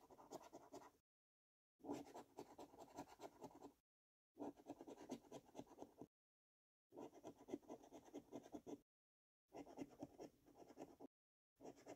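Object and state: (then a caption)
Paper scratchcard being scraped. A metal coin scratches the latex coating off a thin, flat "5 Years For You" lottery scratchcard held by fingertips on a dark wooden table. Six bursts of quiet, gritty rasping are separated by short silences, with the first and last bursts cut off at the clip's edges. The rasping sits mostly in the low-mid range, with faint bright traces above.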